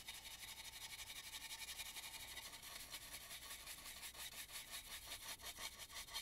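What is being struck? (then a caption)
Carved painted wooden mask. A small stencil brush is rubbed around the inside of a hollow, carved and painted wooden mask, near the eye and mouth holes. It makes a steady, bright, scratchy brushing with quick rhythmic strokes that grow more distinct and slightly louder toward the end, with almost no low end.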